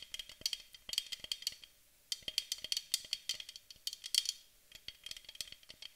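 Long fingernails on both hands rapidly tap the body of a white aluminum aerosol spray can held in both hands. The result is quiet, dry, bright clicking in quick rattling bursts with a faint metallic ring near 3.3 kHz. Brief pauses fall around the two-second and four-and-a-half-second marks.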